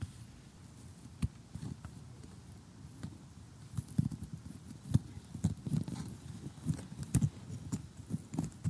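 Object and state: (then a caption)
Cardboard jigsaw puzzle. A flat, glossy cardboard cartoon jigsaw puzzle is tapped and poked with metal tweezers and short glittery nails. Soft, dull, low taps come in an irregular scatter, growing busier and a little louder in the second half. Each tap dies away almost instantly over a quiet background.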